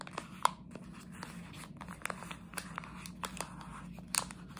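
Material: Plastic.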